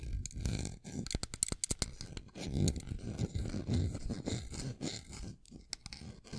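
Fingertips and nails handle a small metal folding pocket knife with a dark handle, held in both hands, opening the blade and scraping along it. A close, quiet run of dry scratches and brief sharp clicks is heard, heaviest in the lows with a faint high edge. The clicks cluster early, then give way to longer scraping strokes.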